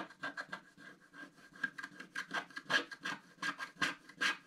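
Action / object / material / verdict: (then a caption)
scrape / wax-coated scratch art card scratched with a wooden stylus / wax coating / none. A wooden stylus scratches the roof area of a black wax-coated scratch art sheet lying flat. It makes a quick, uneven series of short, dry rasping strokes with a bright, gritty texture and a faint squeaky tone near 1.6 kHz. Each stroke stops sharply with no ring.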